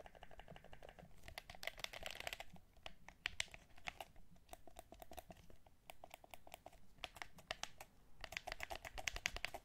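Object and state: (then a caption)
Clear plastic game controller. Fingertips tap and press the buttons and touchpad of a hollow, transparent plastic DualShock 4 controller held in both hands. The result is a quick stream of dozens of sharp, dry plastic clicks with a bright, high edge and no ring, coming in dense bursts over a faint low rumble.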